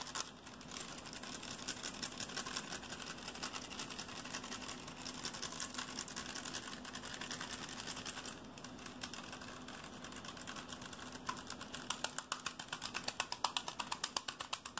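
A hand-sized plastic Rubik's cube with colored stickers is twisted rapidly and tapped with the fingers. The result is a dense, fast stream of bright clicks and scratchy rattles, with a steady low hum beneath. Toward the end, the taps grow louder and more separated.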